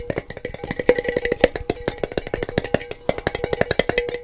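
A small clear glass mason jar with a gold metal screw lid, holding a little loose material at the bottom, is held in both hands, tapped with fingertips and tilted or shaken. A quick, uneven run of short, dry taps is heard, each carrying a faint ringing tone near 500 Hz, with light rattles between them.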